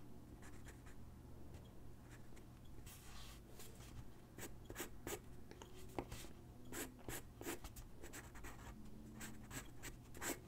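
A graphite pencil sketches across a single white sheet of drawing paper resting on a wooden desk, making quiet, dry scratching strokes. Short bright bursts of scraping come in quick, irregular runs over a steady low hum.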